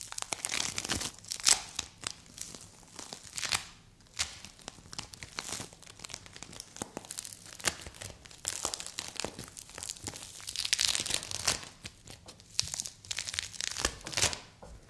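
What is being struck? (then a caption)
Polystyrene bead play foam. A hand-sized soft mound of green play foam made of small polystyrene beads is squeezed and pulled apart by fingers with long white nails. It gives dense, bright crackling and crinkling, like tearing, with a steady stream of tiny pops and a few louder bursts.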